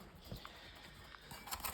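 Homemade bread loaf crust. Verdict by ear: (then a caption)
Hollow. Knuckle-free taps on the crust of a freshly baked homemade savoury no-knead bread loaf produce soft, dull, hollow-sounding knocks over a quiet background. The hollow sound shows the loaf is baked through and done.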